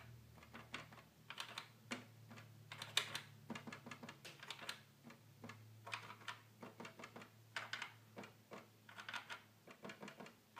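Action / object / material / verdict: tap / plastic toy keyboard / plastic / none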